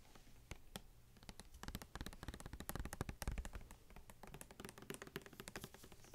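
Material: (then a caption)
Plastic. Long fingernails tap rapidly on a small, hollow, purple plastic Listerine mouthwash bottle that has a paper label and is filled with liquid. The result is a dense run of short, dry clicks with a soft low thump underneath and almost no ring, swelling louder in the middle before settling back down.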